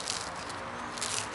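An old, deteriorated single coolant hose from a Fiat Idea is squeezed by hand and gives a continuous, bright, dry crunching and crackling. The hose is leaking at all its connections and splitting at the plastic weld, and the brittle sound shows its material has aged and hardened, so it is being replaced.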